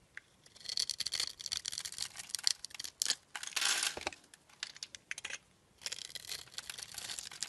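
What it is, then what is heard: Glycerin soap bar being carved. A solid, translucent light blue oval glycerin soap bar is held in the palm while a craft knife blade scrapes scored cubes off it. The result is a crinkly, crackling cutting sound made of dense bursts of bright, high scraping with short pauses in between. There is no low rumble.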